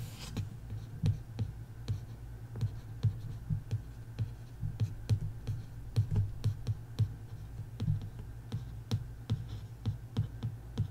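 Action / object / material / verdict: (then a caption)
scrape / printed hardcover book board / cardboard / none. A long fingernail traces and scratches over the printed text on the cover of a bare printed hardcover book lying flat. Soft scratching is broken by a steady string of short, dry clicks with bright edges and almost no ring, all over a constant low hum.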